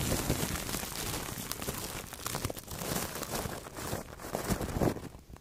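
Two soft makeup brushes brush and rub over clear plastic cling film wrapped around a microphone head. The result is a continuous close crinkling and rustling, with low thumps and bright, airy swishes that swell and fade in waves.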